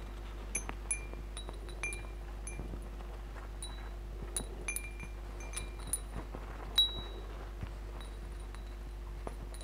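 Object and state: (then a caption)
Metal tube wind chime with glass beads. Fingertips and nails brush and tap the hollow metal tubes and glass crystal beads of a hanging wind chime, making light, scattered clinks over about ten seconds. Bright, short metallic pings ring near 3.9 kHz and fade quickly over a steady low hum, with one louder strike standing out near the end.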